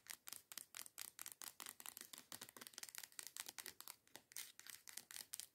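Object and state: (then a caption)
Plastic scrub bottle. Long nails quickly tap and scratch a teal plastic body scrub bottle lying on its side. A fast, steady run of about thirty dry, bright clicks and scrapes is heard, each dying away almost at once with no low end, at a fairly quiet level.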